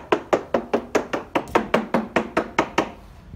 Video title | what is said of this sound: Boat Survey by Nick Vass, Omega Yachting Services | just tapping and finding the bulkheads, looking for delamination